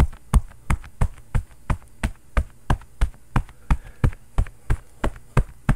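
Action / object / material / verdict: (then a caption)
knock / padded cotton oven mitt / quilted cotton / none. A bare fist rapidly pounds and knocks on a long, padded, quilted cotton oven mitt with a floral print, soft and hollow and worn on the other hand. The result is a steady stream of dull, low, muffled thumps, about three per second, each dying away almost at once, with lighter knocks in between.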